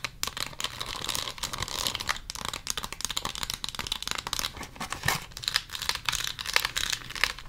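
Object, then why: Clear plastic packaging box holding lip gloss tubes. Long acrylic nails tap and scratch a small clear plastic lip gloss gift box holding several hollow lip gloss tubes filled with product. The result is a rapid, uneven stream of bright, crisp clicks and scratchy crinkling with almost no ring and little low end.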